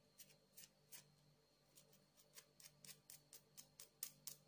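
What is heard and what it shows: Long acrylic nails tap and scratch a palm-sized solid blue agate stone with a rough, faceted surface while it is held up. The result is a quick, uneven series of crisp, bright clicks and short scrapes that die away almost instantly, over a faint steady low hum.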